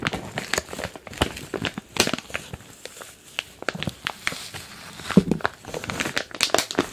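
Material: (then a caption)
Plastic. A medium, glossy printed plastic package filled with kinetic modeling sand is squeezed and crinkled with fingers and palms. Dense, crackling crinkles with bright, sharp snaps come in irregular bursts, with soft grainy shifting between them.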